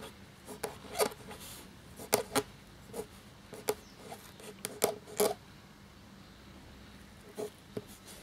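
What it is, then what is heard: Quill scratching parchment paper. A black feather quill nib scratches across a thin, cream parchment-style paper sheet lying flat while writing, with fingertips holding the sheet steady. Short, dry, rasping scratches come in uneven bursts with brief pauses between strokes, bright and papery over a quiet background. Each stroke ends almost at once, followed by a longer lull near the end before two final scratches.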